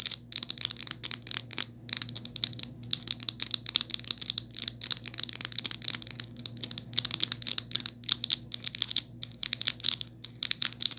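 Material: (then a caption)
Plastic. Long nails tap and scratch around the metal ring holder on a rose-gold hard plastic and rubber phone case fitted on a phone. Rapid, bright, dry clicks and scratchy rustles come in dense bursts with brief pauses, each tap dying away almost instantly. A faint, steady low hum sits underneath.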